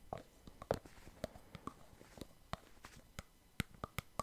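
Fingers pull the clear plastic cap off a partly full white plastic Clearskin foam cleanser pump bottle and snap it back on. This produces a series of short, dry plastic clicks and taps, spaced irregularly, with soft rustling handling noise in between. Each click is crisp and quickly stops, with no ringing.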